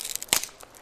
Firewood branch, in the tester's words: Ese es el sonido de la madera seca obviamente cuando la abrimos nos damos cuenta que está totalmente seca